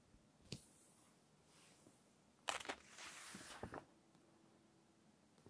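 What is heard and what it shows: Long painted nails and fingertips smooth, rub and turn the thin glossy pages of a large fashion magazine lying open and flat. Soft, airy brushing and sliding whispers are broken by crisp, bright paper flicks and snaps as a page lifts and falls over. The clip ends in quiet, faint rustling.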